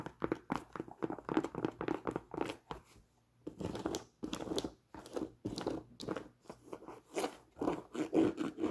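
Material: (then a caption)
Leather. Long nails scratch and tap a held-up tan Timberland nubuck leather boot, moving over the nubuck, the metal eyelets, and the rubber sole. The result is a rapid run of soft, dry taps and crunchy scratches, mostly low-mid in tone, with short pauses around three and five seconds.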